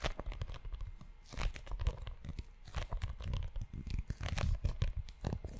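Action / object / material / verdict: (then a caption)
scrape / leather notebook cover / leather / none. Fingertips and short nails scratch the cover and spine of a book-sized tan leather notebook held close to the mic. The result is a dense run of dry, scratchy rasps and crinkly bursts with a heavy low-end rumble, rising and falling in loudness without pause.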